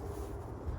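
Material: Nothing is struck.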